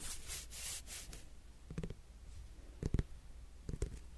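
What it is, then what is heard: Netted melon, fingernail tapping. Fingernails scratch the rind of a whole, solid netted melon close up, giving soft, bright rasping strokes for about the first second. Then come three short clusters of dull, low fingernail taps on the rind that die away almost instantly, over a faint low hum.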